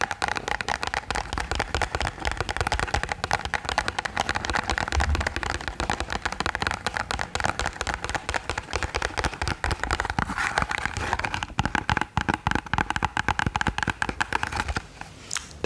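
A tall, narrow, hollow pink printed cardboard box is held in one hand and tapped and scratched with long painted nails. Rapid, dense clicking taps and scratchy rasps continue throughout, with a hollow, papery mid-range resonance, and ease off just before the end.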